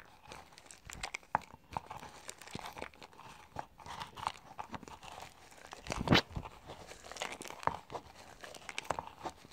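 Fingertips press and crush dry, brittle white soap scraps at the bottom of a small clear plastic cup. The result is a dense run of quick, dry crunching and crumbling crackles, with one louder crunch just after the six-second mark.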